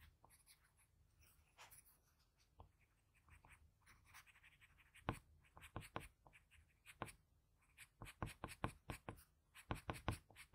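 A blue patterned graphite pencil scratches shading strokes onto the eye area of a portrait on a flat sheet of drawing paper. Quiet, dry scratching starts soft and sparse, then builds in the second half into a run of sharper, louder rhythmic strokes, each a short bright rasp that stops almost instantly.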